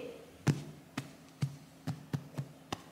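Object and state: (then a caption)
Hollow-sounding fake pregnancy belly. Taps on a silicone fake pregnancy belly bought from Amazon give seven distinct, short, dull thuds with a low body around 145 Hz and little ring. The belly sounds hollow.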